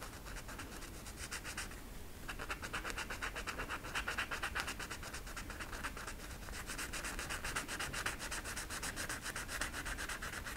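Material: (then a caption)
Flocked velvet. An orange marker tip rubs and scratches back and forth over a flat velvet coloring poster with black flocked velvet lines on a stiff backing. The result is a steady, rapid, quiet scratchy rubbing, with a bright hiss centered around 1.6 kHz. There is a brief lull near two seconds before the strokes resume.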